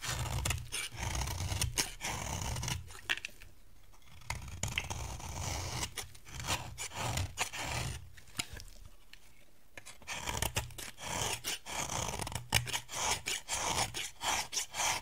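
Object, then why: Bar of soap cut with a metal blade. A metal utility blade carves a solid, dry yellow bar of soap held in the hand, shaving off crumbly curls. Bursts of crisp, bright scraping and crackling cuts repeat over a low steady hum, with quieter pauses around four and nine seconds. Quick, closely spaced strokes follow toward the end.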